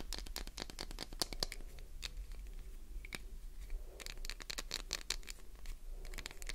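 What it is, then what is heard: Glycerin soap bar. A solid, translucent green glycerin soap bar with an embossed logo is scratched with long nail tips. Rapid, dry, bright scratching and tapping clicks come in dense bursts, with quieter stretches in between, over a low steady hum.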